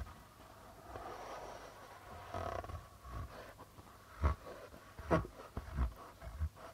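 Fingertips and nails drag and scratch across the white plastic membrane of a hollow darbuka drum, making soft rubbing friction sounds. Toward the end, several short, low, dull thumps stand out from the quiet scraping.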